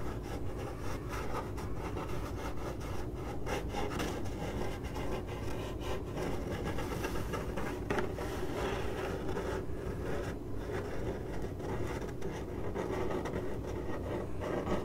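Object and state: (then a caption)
Cardboard box being scratched. Long acrylic nails on both hands scratch the side of a hollow, printed corrugated cardboard box. The result is a steady, continuous rasping and rubbing texture, heavy in the low range and with very little high-end brightness. It keeps an even level throughout, with no distinct separate hits.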